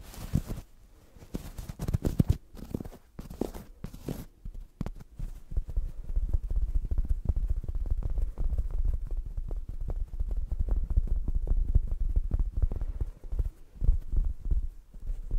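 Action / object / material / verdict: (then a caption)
scrape / velvet-covered padded neck pillow / velvet / none. A soft, padded black velvet-covered neck pillow from a gaming chair, about 30 cm wide, is held in front of the mic and scratched and tapped with long acrylic nails. The result is a dense run of muffled, low thumps and soft rubbing that is almost entirely bass, with no bright edge. The sound is quieter and more sporadic for the first few seconds, then becomes a steady, fast patter.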